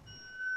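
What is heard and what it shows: An aluminum "tuning fork" motor mount, made for a Cardinal model plane, is sounded once and gives a steady, bell-like ring pitched near 1.5 kHz with fainter overtones above. The tone holds and grows slightly louder through the clip, showing a resonant one-piece metal part that rings for about a minute.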